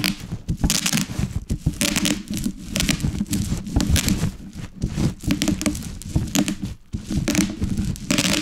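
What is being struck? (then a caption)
Plastic bubble wrap on a wooden board. A wooden rolling pin rolls over and crushes a large sheet of plastic bubble wrap with hollow air cells, laid on a wooden board. Dense, rapid pops and sharp crinkling crackle over a low, rumbling body. The bursts come in uneven clusters with brief quieter gaps throughout.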